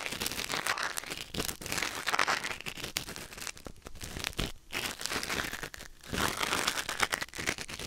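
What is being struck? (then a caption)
Silicone ear on a binaural microphone, scraped by a wooden ear pick. A thin wooden or bamboo ear pick, held in the fingers, scratches and scrapes inside the ear canal of a white silicone ear mounted on a black binaural microphone. The result is a dense, bright, crinkly scratching and rustling that runs almost continuously, with brief quiet gaps around 4.6 and 6 seconds.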